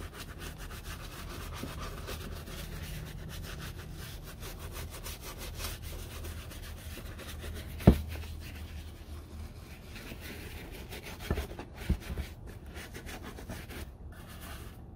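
A brown leather Red Wing Iron Ranger work boot, held in the hand hollow and empty, is scrubbed with a small wooden-handled bristle brush covered in cleaning lather. Steady, soft, low rubbing and brushing fills the clip, broken by a sharp knock near the middle and a few smaller taps toward the end.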